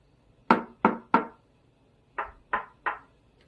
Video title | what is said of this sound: Speaker comparison | There is no plasticky echo when I knock it